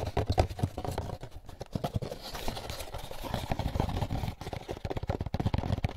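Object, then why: Molded paper pulp egg carton. An empty, hollow, white molded paper pulp egg carton is turned in both hands while fingertips tap and rub its sides. The result is a quick run of soft, dull, low-heavy taps with papery rubbing between them, and each tap dies away almost at once.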